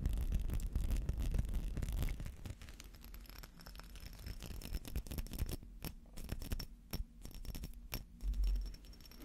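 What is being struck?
Small textured glass perfume bottle with metal cap.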